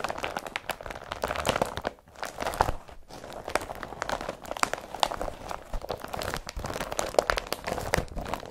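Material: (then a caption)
Polypropylene. An empty blue woven polypropylene IKEA BRATTBY carrier bag is crumpled by hands and then pressed flat. The result is a dense run of dry, crackling crinkles and crunches that sound plasticky and bright. Two brief quiet gaps come near the 2 and 3 second marks.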